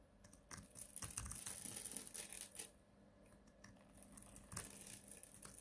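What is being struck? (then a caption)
Bar of soap cut with a blade. A palm-sized, solid blue-and-white striped bar of dried soap, held in a gloved hand and pre-scored in a grid, is shaved with a snap-off utility knife blade. The blade makes dry, crisp crunching and scraping sounds with bright, high-pitched crackles in an irregular run of quick cuts. Crunchy cubes break off and crumbs fall away.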